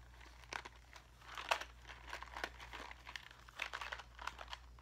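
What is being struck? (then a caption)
Small clear plastic box filled with craft gems. A small clear plastic cube box full of pink and silver craft gems is turned in the hands and scratched with fingernails. Quiet, crisp crackles and brief bright scratches come in uneven bursts over a faint, steady low hum.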